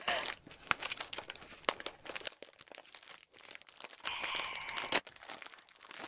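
A small, thin, clear plastic food bag full of breadsticks is held in both hands and handled with the fingertips as it is squeezed and opened. It gives bright, dry crinkling with sharp snapping clicks and a brief steady rustle near the end, with almost no low end.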